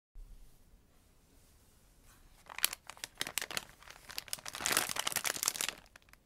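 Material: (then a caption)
Plastic film. A soft pink polyethylene shipping mailer bearing Korea Post customs labels and filled with packaged socks is handled with bare fingertips, crinkling the plastic film. After about two seconds of near silence, sharp, bright crackles start, building into a dense burst of crinkling and tearing-like rustle before trailing off into a few scattered crackles.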